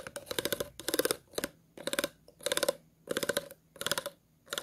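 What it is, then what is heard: Empty plastic water bottle, scratched. Scissors and fingernails scratch the ridges and base of an empty, hollow, clear plastic water bottle. Short bursts of dry, rattling scratches with a hollow midrange ring come in an uneven rhythm, separated by brief quiet gaps.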